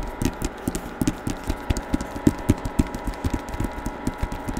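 Fingertips tap on the covers of a hardcover novel with a paper dust jacket, held open or at an angle. About twenty short, dull, low-pitched taps land in an uneven rhythm, each dying away almost instantly. A steady faint hum sits underneath.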